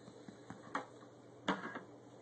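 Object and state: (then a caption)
Baked bread loaf, hollow-sounding bottom (done). A brown loaf of bread, baked about 40 minutes and turned out of a ceramic bowl, has its bottom tapped several times. The taps give short, dull, hollow knocks over a low background hiss. The hollow sound shows the loaf is baked through and done.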